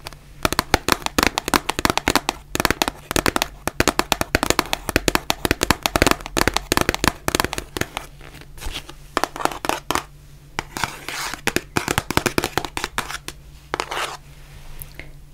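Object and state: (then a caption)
Cardboard face mask box. Long nails tap and scratch across the faces of a white printed cardboard face mask box, making a dense run of sharp, dry clicks. Brief scratching passes break up the tapping, all over a faint steady low hum.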